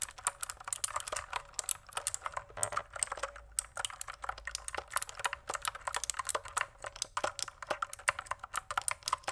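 Keys on a pink plastic mechanical keyboard are tapped with fingertips in steady, rapid typing. Each keystroke is a short, crisp click with bright highs, a midrange body and almost no low end. The clicks die away almost instantly, leaving only a faint quiet background between them.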